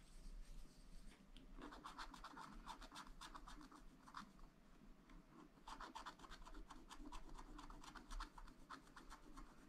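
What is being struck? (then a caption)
Coated scratch-art paper and wooden stylus. A wooden stylus scratches across a black-coated sheet on a scratch-art paper pad, filling in areas with quick, repeated strokes. It makes a quiet, dry, rasping scratch with a bright edge and a steady low hum underneath. The strokes come in two busy runs separated by a brief lull around the middle.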